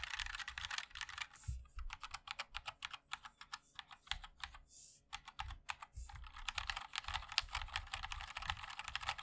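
A 60% MOD-L mechanical keyboard with a black aluminium case, white and black ABS keycaps and linear switches is typed on continuously with the fingertips of both hands. The result is fast, bright, dry clacking taps with a light low thump beneath, slowing into more spaced keystrokes and brief pauses mid-clip before speeding up again.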